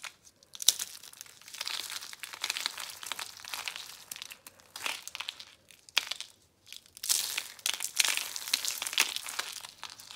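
Dry, brittle red, orange and pink soap curl flakes from a pile are crumbled and crushed between the fingertips and palms of both hands, then dropped back onto the pile. The result is dense, bright crackling and crunching in steady bursts, with a short quiet gap near the six-second mark before the crushing resumes.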